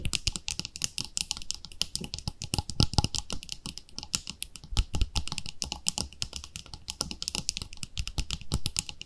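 Long nails tap rapidly on the lid and sides of a round, palm-sized white plastic cream jar with a pink label. The result is a dense, continuous run of short, bright clicks with a faint low thump beneath them, each tap dying away almost instantly.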